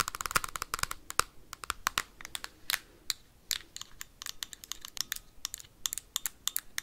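Metal paperclips tap fast on a hard plastic Nintendo Switch console with a red Joy-Con. The result is a rapid stream of sharp, dry, bright clicks with almost no ring and a clacky tone around 1.3 kHz. The taps come densely at first, then in looser irregular bursts.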